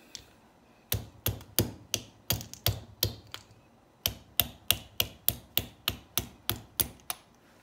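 A small hollow aluminum Mini Maglite tube with corroded batteries stuck inside is held upright and knocked on its top end with a red tool handle, possibly a screwdriver, to loosen the batteries. Sharp, bright metallic clacks with almost no ring come in an uneven first burst, a short pause, then eleven steady, evenly spaced knocks.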